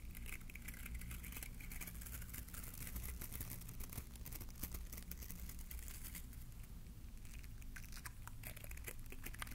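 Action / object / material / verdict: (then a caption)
scrape / plastic bristle bottle-brush tree / plastic / none. A small green bottle-brush Christmas tree with glittery plastic bristles, held beside the mic, is scratched with a fingertip. It makes a steady stream of dense, crackly scratching and bright crinkly ticks over a constant low hum, with no pauses through the clip.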